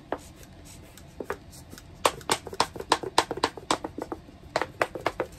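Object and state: Plastic container tapped with nails.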